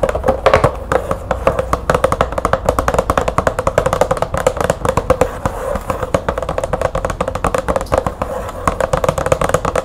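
Long nails on both hands tap fast on a medium green cardboard light bulb package with a window, resting on a table. The taps come as a rapid, continuous patter of short, dry clicks with a hollow, boxy tone around 570 Hz and almost no ring.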